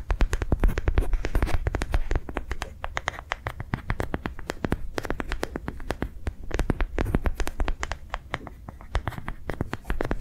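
A hand-sized, yellow-green, ridged soft rubber sensory ball, likely hollow, is held in one hand and tapped and scratched along its ridges with long nails. The result is a fast, irregular run of short, dry clicks and scratchy strokes with a soft, low thump beneath them and almost no ring after each touch.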